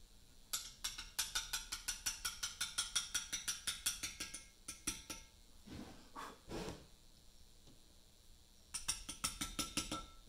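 A mallet taps a steel chisel cutting letters into a large, solid Portland limestone memorial block, producing a rapid run of about 33 sharp, bright clicks that die away almost instantly. The tapping stops for a few seconds, with only softer, duller sounds in between, then resumes briefly at the end.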